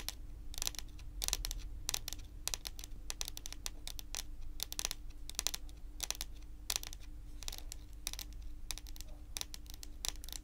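Long pointed acrylic nails tap and lightly scratch a large, solid, glossy dark brown wooden table top in quick, uneven bursts. Each contact makes a short, dry, bright click or scratchy rasp with almost no ring, set over a steady low hum and faint background noise.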